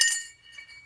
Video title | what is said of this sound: What Is That Rattle In My Tank ??? | if it sounds like metal more than likely it's this dip tube